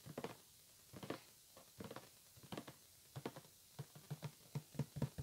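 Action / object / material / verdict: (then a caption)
tap / cardboard headphone box / cardboard / none. Fingertips and nails tap and scratch a hollow white printed cardboard retail box for headphones resting on a table. Soft, dry, hollow taps with a low thump come in irregular bursts, mixed with brief scratchy rustles. Each hit dies away almost instantly, leaving quiet gaps between clusters.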